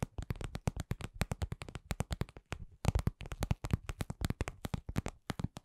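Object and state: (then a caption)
Vinyl cosmetic pouch tapped with nails. A soft, hollow, lip-shaped red patent vinyl cosmetic pouch is tapped with long glittery nails in a steady run of about 43 quick taps. Each tap is a dull, low thump with almost no ring.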